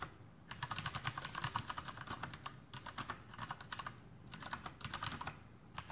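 Fingertips of both hands type continuously on a Masterkeys Pro M, a full-size black plastic mechanical keyboard with Cherry MX Brown switches and blue backlit keycaps, resting on a desk. Quick, bright keystroke clacks with a low thud come in dense bursts, separated by brief pauses. Each stroke dies away almost at once.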